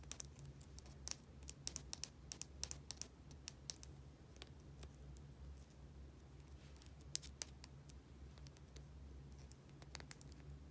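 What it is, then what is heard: Small plastic bottle tapped with nails. Long painted nails tap and scratch a small, hollow, travel-size plastic bottle with a white rounded cap and an orange and white label. Many quick, dry, bright clicks land in irregular bursts, with soft scratching between them. The clicks are quiet and die away instantly over a steady low hum.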